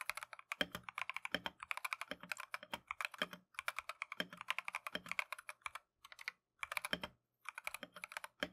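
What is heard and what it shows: Gloved fingertips type continuously on a Keychron V1 plastic mechanical keyboard with Tangerine switches and green and cream matcha PBT keycaps. Rapid, crisp, bright clacks come in quick bursts separated by brief pauses, each tap dying away almost instantly.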